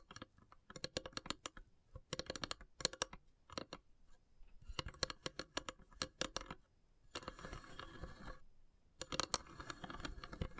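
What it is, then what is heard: Wooden incense box. Long grey nails tap and scratch the carved, perforated lid of a long, narrow, hollow wooden incense box. Clusters of quick, dry, bright taps come in bursts, and a sustained rasping scratch runs across the lid before the tapping returns.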